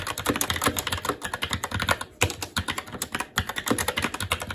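Fingertips of both hands type continuously on a SteelSeries Apex 7 TKL mechanical keyboard with red linear switches, black plastic keycaps and an aluminum plate. Rapid, dry key taps with bright clicks and short low thocks run almost without a break, pausing briefly near the two-second mark.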